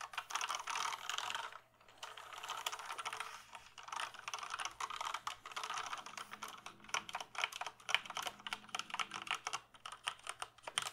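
A black plastic mechanical computer keyboard is held up in front of the face while fingertips press and type on its keys. A dense run of bright, dry plastic clicks and clacks is heard, briefly pausing near the two-second mark, then continuing as faster clustered typing that thins into sharper, more separated key taps toward the end.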